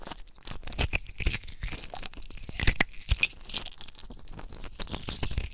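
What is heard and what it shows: A handful of clear, solid ice cubes held in both cupped, wet bare hands over a basin of ice water are rubbed and clinked together with the fingertips. The result is a dense, irregular stream of short, bright clinks and crunchy scrapes with quick wet rustles, each tick dying away almost at once over a low, soft rumble.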